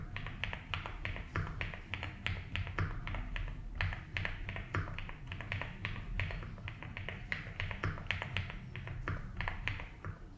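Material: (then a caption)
ABS plastic. A compact blue and white Rainy75 mechanical keyboard with doubleshot ABS plastic keycaps on a polycarbonate plate, resting on a felt desk mat, is typed on continuously with the fingertips of both hands. The key taps come as a steady stream of short, dry clicks with bright upper edges over a deep, low thock. Each press dies away quickly.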